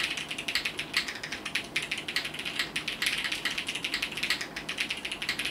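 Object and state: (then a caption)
Mechanical keyboard with plastic keycaps. Fingertips type steadily on a compact mechanical keyboard with multicolored plastic keycaps, producing a continuous run of bright, clicky key presses. Each short, crisp tap fades almost instantly, and the overlapping strokes form a rapid, ratchet-like clatter with almost no low end.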